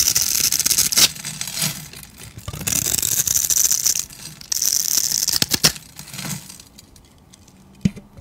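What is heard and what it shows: A utility knife blade shaves crumbly cubes off a solid, hand-sized white bar of soap that has been cut into a grid. Bright, dry scraping and crinkly crumbling come in uneven bursts, with a few sharp snaps. The sound thins to faint scratches near the end, broken by one last short click.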